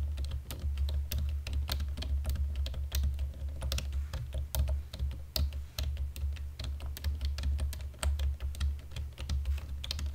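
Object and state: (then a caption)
Plastic computer keyboard being typed on. A black plastic computer keyboard, in dim light, is typed on with index fingertips and nails. It gives a steady run of sharp, bright clicks and taps over a constant low hum.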